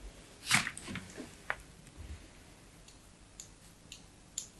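A small metal blade scores diagonal lines into the surface of a small, solid white bar of soap with an embossed logo, held in a hand with long yellow nails. Six short, bright scraping scratches are heard, the first the loudest, each fading almost at once into near silence.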